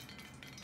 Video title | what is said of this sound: Braised Short Ribs | get your hand a little wet and just flick it in there and you can hear it starting to pop so that's the way to tell your oil is ready